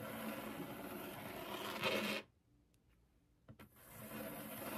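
Long acrylic nails scratch a flat, solid white laminated desk top with the fingertips resting on the surface, producing a steady, bright, rasping scrape. After about two seconds the scratching stops into near silence, broken by two soft taps. Then the rasp gradually builds back up to a continuous scratch.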